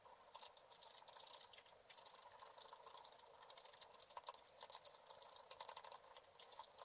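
A wooden stylus scratches quick, patter-like strokes into a black-coated scratch art card lying flat, scraping out a picture of water lilies in a pond. The sound is a faint, dry, bright scratching made of rapid short ticks and scrapes with no low end, swelling and thinning in bursts.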